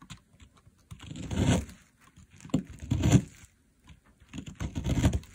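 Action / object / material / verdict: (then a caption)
scrape / bar of soap / soap / none. A box cutter blade carves fine shavings from a solid, dry pink soap bar lying on artificial grass, held in place by a finger with a long nail. Three crackling, scraping strokes swell and fade with short quiet gaps between them. The sound is dry and crumbly, weighted toward the low end with a faint bright edge.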